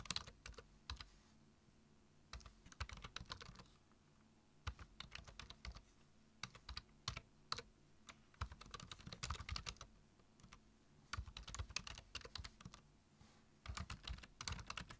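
Fingertips type on a black plastic computer keyboard, tapping the keys in quick, irregular bursts with short pauses between. Each keystroke is a sharp, bright click that stops almost instantly, over a faint steady low hum.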